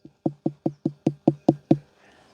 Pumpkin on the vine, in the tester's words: if you knock on it and it sounds like knocking on someone's front door it's nice and Hollow